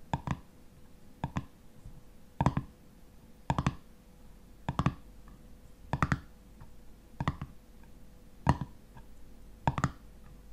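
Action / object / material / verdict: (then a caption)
scrape / metal screw lid on a glass jar / metal / none. Fingernails scratch the top and ridged edge of a black metal screw lid on a full glass honey jar. Short, dry scratchy clicks come in quick pairs about once a second, each dying away almost at once, with a faint steady hum between them.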